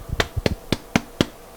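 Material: Bread crust.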